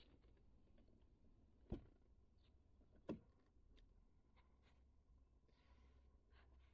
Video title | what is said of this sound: Lancia Lybra – le design , inédit en SW , élégante et pacifique | portes sont relativement rigides quand on les ferme ça sonne pas le TOC